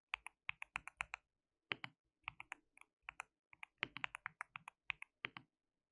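Fingertips of both hands type continuously on a white mechanical keyboard with plastic keycaps. Thirty bright, sharp clacks fall in quick bursts separated by short pauses, and each one cuts off almost instantly with almost no low end.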